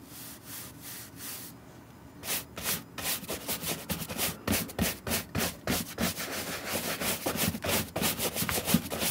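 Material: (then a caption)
Suede. A wooden horsehair brush dusts off the dry upper of a hand-held green suede Nike SB Air sneaker with a gum sole. A few soft, bristly strokes are followed by a brief pause, then a quicker run of louder, brighter, scratchy brush strokes across the suede.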